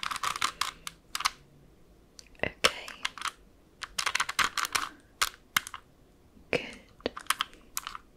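Long acrylic French-tip nails tap across the faces of a small, hollow plastic 3x3 Rubik's cube with colored stickers, held close up. Quick, irregular bursts of sharp, bright clicks come in clusters separated by short pauses. Each tap is dry, dies away almost instantly, and has almost no low end.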